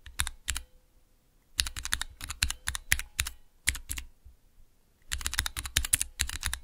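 Fingertips rapidly type on a small square Cherry MX mechanical keyboard switch tester with clear plastic keycaps, resting on black cloth. Bursts of sharp, bright clicky keystrokes with short thocky low ends come in three runs separated by brief pauses, each press snapping off almost instantly.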